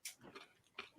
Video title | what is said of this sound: COMIC NEWS - REVIEWS - & BABBLING ON! | it sounds solid nothing in there